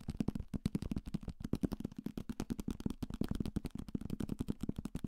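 A thick paperback copy of *Salem's Lot*, a solid paper block with a card cover, is held in the hand close to the mic and tapped quickly and hard with fingertips and nails on its cover, spine and page edges. The result is a fast, steady run of short, dry, dull thuds with a low body around 220 Hz and crisp, bright clicky tops.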